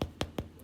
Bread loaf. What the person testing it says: it sounds hollow it's done